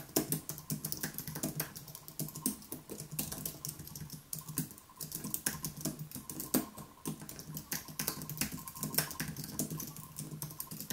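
Both hands tap rapidly with their fingertips on a white Apple Magic Keyboard, an aluminium keyboard with plastic keys resting on a wooden desk. The result is a steady stream of quick, soft, crisp key clicks with short bright transients over a faint constant low hum.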